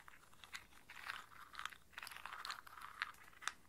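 Cupped hands with long nails scoop handfuls of whole walnuts in hard, hollow shells from a round brown bowl, rubbing and rolling them together so the shells clack against each other. The result is a quiet, continuous dry rattling and crunching, with sharper clicks standing out now and then. The sound sits in the mids to highs with almost no low end, and each click dies away instantly.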